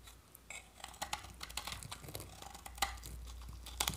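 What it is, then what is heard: Dry soap bar. A utility-knife blade scrapes thin flakes off a solid, partly carved bar of dry, varnished orange soap held in the hand. A series of crisp, dry scraping and crackling strokes sounds bright and close, over a faint low hum.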